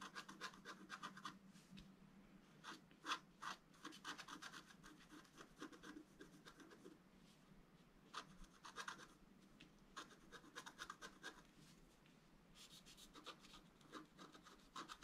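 A wooden stylus scrapes across a flat sheet of black-coated scratch art paper board in short, repeated strokes. The result is a dry, gritty rasping with bright, hissy texture, coming in quick bursts separated by quieter pauses.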